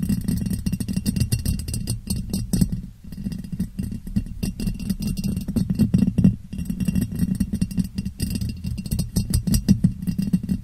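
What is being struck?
Ribbed glass jar.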